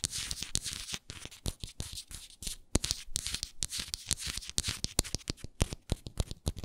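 Long nails scratch and tap across the base and sides of a hexagonal frosted glass moisturizer jar. Bright, gritty scratching strokes alternate with quick, dry taps that stop almost instantly, each tap carrying a low thump beneath the high rasp.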